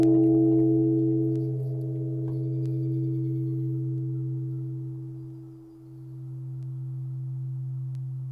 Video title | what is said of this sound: Japanese Gardens | we're just going to give it one good ring and listen to it ring out